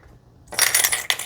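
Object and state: Gold coins clinking.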